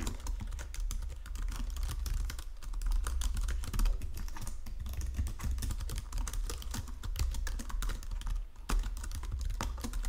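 Fingertips and nails tap and press the keys of a white plastic Logitech keyboard resting on marble. The result is a steady, dense stream of quick clicky keystrokes, with bright, short clicks over a constant low rumble. The typing pauses briefly near the 8.5-second mark.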